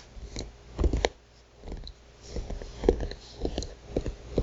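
Long painted nails on both hands rapidly tap and scratch a flat, thick paper notebook cover with a printed illustration. The result is soft, dull clicks and papery scratching with short pauses between bursts.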